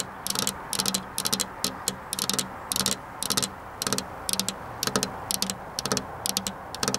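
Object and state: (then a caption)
Glass window pane tapped with fingernails. Long black-polished nails tap on a flat glass window pane near a metal rail. Quick, bright clicking taps come in short clusters, separated by brief pauses, over a steady low hiss. Each tap is dry and dies away almost at once.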